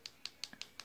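Six quick, bright clicks come from tapping an artificial acrylic fingernail attached with nail glue during a nail application. The hits are crisp and short, and the fourth is duller and lower. The hard, sharp sound shows that the glue has set, so the nail form can be pulled off.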